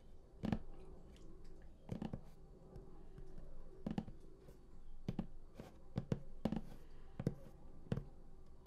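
Both hands tap across the lid of a large printed cardboard collector's edition game box lying flat, using fingertips and nails. Irregular dull, low-heavy taps with very short decay mix with light clicking and scratching of nails on the cardboard, all over a quiet background.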